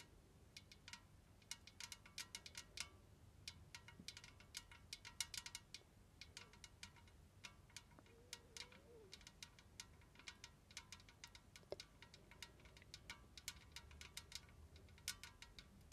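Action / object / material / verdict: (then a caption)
tap / painted tin tea caddy / tin / none. Long red nails tap the body of a large, hollow, white-painted tin tea caddy with a domed lid, held in both hands. Dozens of quick, light, bright metallic ticks come in an irregular patter, each ringing high near 2 kHz and dying away almost at once. A faint low rumble sits underneath throughout.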